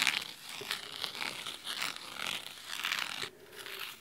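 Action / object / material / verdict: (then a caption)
scrape / cloth-covered hardcover book / cloth / none. Fingernails scratch along the cloth spine of a large red cloth-bound hardcover book. The result is a crisp, dry, bright rasping in quick uneven strokes. It fades briefly near the end before resuming.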